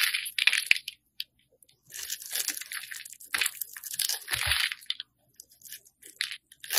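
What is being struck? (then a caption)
Solid bar soap cut with a metal blade. A metal utility blade carves a hand-held rectangular pink solid soap bar with an embossed logo, shaving off chunky chips. Dry, bright crunching and scraping come in bursts of cutting separated by short silences, with almost no low end.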